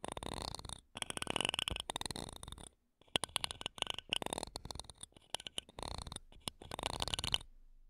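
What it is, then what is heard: Metal microphone grille being scratched. Wooden toothpicks held between long nails scratch across the metal mesh grilles of two small silver condenser microphones. Bursts of dense, bright scraping and rapid scratchy clicks are broken by short silences, with a faint steady hiss underneath.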